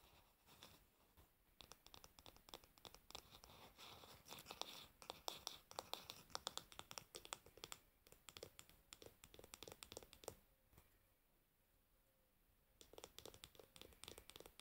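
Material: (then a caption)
Varnished wood. Long nails scratch along the glossy, varnished solid wooden back and handle of a hairbrush, making quiet, dense, bright scratching strokes with crisp, short clicks and little low end. The strokes run steadily, pause briefly near the end, then resume.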